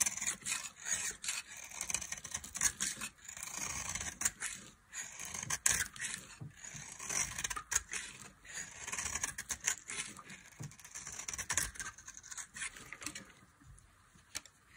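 A metal knife scrapes powdery flakes from a solid, palm-sized bar of dry cream-colored soap held in the hand, then slices off the end. The result is a steady run of dry, bright, crumbly rasps and crisp short scratches with almost no low end. Brief quieter gaps fall between strokes.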